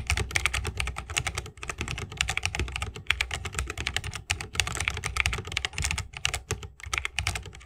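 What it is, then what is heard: Mechanical keyboard with plastic keycaps in a wooden case. Fingertips of both hands type fast on an RGB-lit 60% mechanical keyboard with plastic keycaps on tactile switches, set in a solid bamboo wooden case resting on a wrist rest. The result is a steady stream of quick, dry keystrokes with bright, crisp clacks over a deeper, rounded thock, each dying away almost instantly, with only a few brief pauses.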